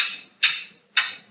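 A child's toy blocks are tapped together in a steady rhythm about half a second apart. Each tap is a sharp, bright click with no low end that fades within a fraction of a second.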